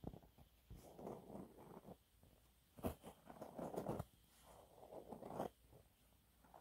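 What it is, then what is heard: Cellulose sponge cloth being scratched. A thin, flat, yellow textured cellulose sponge cloth, held in both hands, is scratched and gripped with fingernails. Quiet bursts of dry, crinkly scratching and rustling come and go, punctuated by a few sharper crackling snaps, with short pauses between passes.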